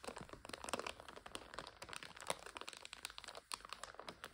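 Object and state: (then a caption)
Plastic bag of dried egg noodles. Long acrylic nails tap, scratch and press on a full 400 g clear, printed plastic bag of dry egg noodles resting on a sofa, making it crinkle. The result is a quiet, steady run of quick, bright crinkles and sharp little ticks with almost no low end. Each sound dies away almost instantly, and a brief hush comes just before the final second.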